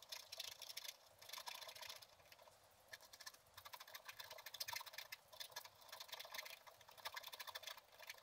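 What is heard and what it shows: A wooden stylus scratches short, rapid strokes near the bottom of the picture on a flat, black-coated scratch art paper card. The sound is a quiet, dry, bright scraping with a gritty rasp, coming in bursts of quick strokes separated by brief softer pauses.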